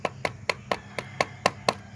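A whitish, slightly yellowish metal bead, smelted out of a rock the day before, is knocked eight times at an even pace. Each blow gives a short, bright clink that dies out almost at once. It sounds like solid metal rather than earth or stone, and it does not crumble under the blows.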